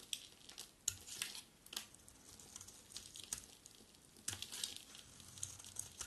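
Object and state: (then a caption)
Dry bar soap being carved. A utility knife blade carves and scrapes a solid, dry, palm-sized white bar of soap, shaving off flaky curls. The sound is a steady, bright, crisp scratching, broken by sharper, louder scrapes as the blade bites in. There is almost no low end.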